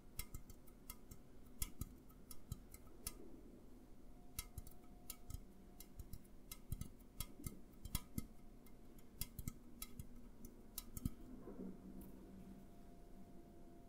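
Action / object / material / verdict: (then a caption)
tap / aluminum drink can / aluminum / none. An upright A&W aluminum drink can is tapped with the fingertips in a steady, irregular run of quick, quiet taps. Each tap is a short, dry tick with a bright edge and almost no ring, over a faint low background hum.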